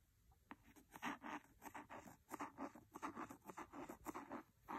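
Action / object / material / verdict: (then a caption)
scrape / cloth-covered hardcover book / cloth, board / none. A wooden pencil scratches along the cloth cover near the spine of a large, solid red cloth-covered hardcover book. The result is a quiet, dry series of short rasping strokes with midrange body and little low end.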